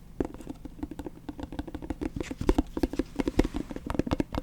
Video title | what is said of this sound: Satisfying Lid Sounds ASMR Tingle, Relax, Sleep, Study, Enjoy | This is a plastic container with a plastic lid. That really makes quite a sound.